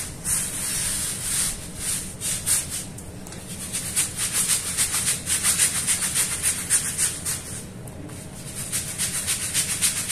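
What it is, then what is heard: Wet rug being scrubbed. A long-handled broom with green bristles scrubs a small, wet, foamy woven fabric rug lying on a stone floor. It makes rapid, repeated bright swishing and rubbing strokes with a hissy, high-pitched texture over a low, steady background rumble. The strokes come in uneven bursts, briefly easing off before picking up again.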